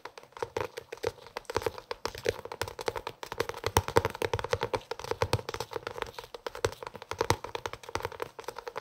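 A closed blue hardcover cloth notebook, held near the microphone, is tapped and scratched on its cover with the fingertips. Rapid, dense, dry taps and scratchy brushing come with a dull mid-range body. Each tap dies away almost at once.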